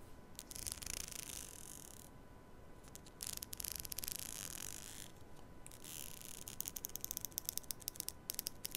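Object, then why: Plastic hair comb. Long nails scratch and run along the teeth of a long black plastic hair comb held close to a mini mic. Soft, bright, hissy rasping strokes come in bursts between quiet pauses, over a faint steady tone. The clip ends in a quick run of sharp, crisp ticks as the nails flick across the teeth.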